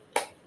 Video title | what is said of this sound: #Biodegradable #Compostable #Sugarcane #Bagasse #Tableware Biodegradable Bagasse Plates | it sounds like plastic yeah it sounds like plastic